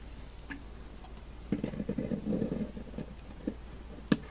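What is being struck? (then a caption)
Bar of laundry soap cut with a knife blade. A utility knife blade shaves thin slices from a beige bar of dry laundry soap, now cut down to a thin slab. Dry, crumbly scraping and crackling come in short bursts over a steady low hum, ending with a sharp click.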